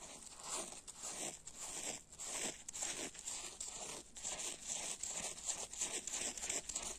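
A hand-sized yellow porous foam kitchen sponge, soaked and covered in soapy foam, is held over a grey plastic basin and scratched and rubbed with fingernails and fingertips. The result is a continuous series of quick, bright, zipper-like scratching strokes with a crackly, hissy texture and almost no low end.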